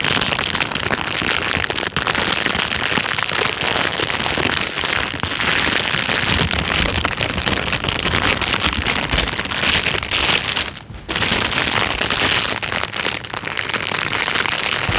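A thin, transparent, empty plastic bag is crinkled by hand and then laid down. A steady, dense rustle of bright, crackly crinkles runs throughout, with a brief quieter gap near the eleven-second mark before the crinkling resumes.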